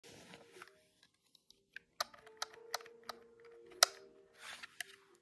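A large grey-white plastic desktop calculator with hard plastic keys and a hollow body is held in the hand while fingertips press and tap its keys rapidly. Sharp, bright plastic clicks ring out over faint rustling, with a few louder clacks standing out.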